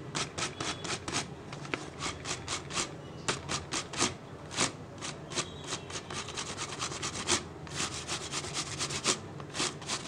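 Fingertips rub and scratch the base and ribbed sides of an empty, hollow clear PET plastic water bottle. Quick, bright, crackly scraping strokes repeat steadily in short bursts over a soft rubbing hiss. Each stroke dies away almost at once, with little low-end body.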